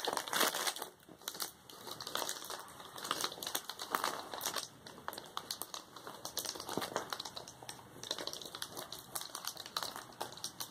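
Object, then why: Plastic bubble wrap sheet. A flat sheet of plastic bubble wrap lining, resting on a cloth, is pressed and rubbed with fingertips. The result is a steady run of bright, dry crinkling and crackling with many quick, closely packed snaps. There is almost no low end, and the snaps stop dead with no ring.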